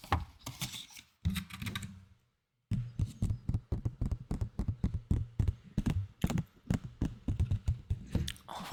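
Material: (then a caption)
Plastic. A plastic candy box that once held plastic sweets is tapped in quick, uneven bursts, giving short, dry, hollow taps with a low body around 105 Hz and almost no ring. The tapping pauses briefly about two seconds in, then resumes in steady clusters. The plastic is judged not the best, sounding worse than cups.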